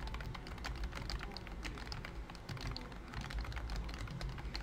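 Fingertips of both hands type rapidly on a pink and cream BT21 COOKY full-size plastic wireless keyboard with round keys and a hollow body, covered by a thin silicone key skin. The result is a steady stream of soft, muffled key taps with a deep hollow thump beneath small bright clicks.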